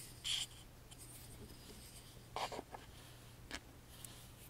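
A wooden toothpick tip taps and traces the engraved grooves of a small, hollow, laser-cut wooden music box with a carved front panel, held in the hand. Five quiet, bright, dry taps and short scratchy scrapes stand out over a faint steady low hum.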